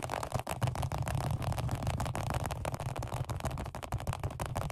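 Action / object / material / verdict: tap / vinyl-over-foam padded bench seat / vinyl, foam / none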